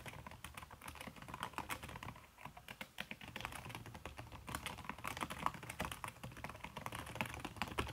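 Fast typing with fingertips and long red nails on a backlit aluminium laptop keyboard fitted with a red silicone key cover. A dense, steady stream of soft, muffled taps with a brief, dry clack on each keystroke, too quick to count apart.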